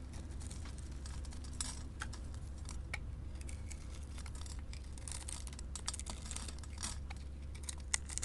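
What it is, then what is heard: Soap bar being scraped. A small, solid white soap bar with silver glitter, held in the hand, is scraped with a metal blade into crumbly flakes. Quiet, rapid, crisp scratching and crackling ticks run over a steady low hum. The scraping stays soft and even throughout, with a few slightly sharper bright snaps.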